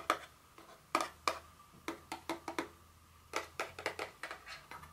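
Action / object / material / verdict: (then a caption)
tap / small cardboard box / cardboard / none. A small, hollow, blue printed cardboard Dior fragrance box lying on its side is tapped and scratched with very long fingernails. About fifteen short, dry, hollow taps sound in an uneven rhythm, each with a bright, papery click that dies away almost at once.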